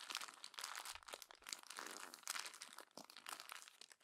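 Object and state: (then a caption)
Glossy magazine paper being crumpled. A palm smooths a page of a glossy paper magazine, then a hand crumples the page and turns it. Dense, bright crinkling and rubbing continue throughout at a low level, with quick crisp crackles and almost no low end.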